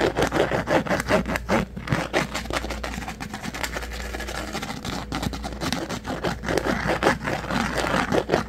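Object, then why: Plastic container lid. Fingernails scratch and tap the flat top of a hand-sized pink plastic rectangular lid held in one hand. Quick, uneven scratching and tapping runs throughout, louder at the start and end with a softer, steadier rubbing stretch in the middle, over a low steady hum.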